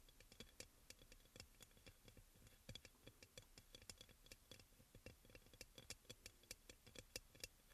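Fingernails tap quickly on the glazed sides of a hollow, white crackle-glazed ceramic aroma oil burner. The result is a fast, uneven run of about forty short, dry clicks, bright with a faint low knock beneath and almost no ring, played softly.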